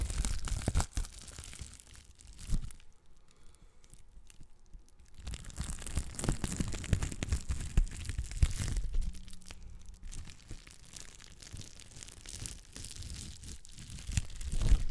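A small piece of clear plastic bubble wrap has its bubbles pinched and popped with long black nails. Dense, close crinkling and sharp little pops crackle almost continuously, with a quieter stretch early on before the popping picks up again.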